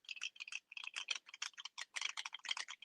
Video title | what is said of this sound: What's New, What's News - Wednesday, November 13 | until you get that ball rattling